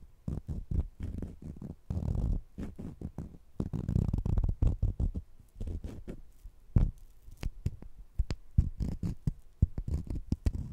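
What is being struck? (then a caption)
Sugar-coated jelly candies. Two small, solid, sugar-coated jelly fruit-slice candies held in the fingertips are scratched against each other. The result is a dense stream of short, soft, low scratching and rubbing bursts, some with faint bright grit, with brief quiet gaps between them.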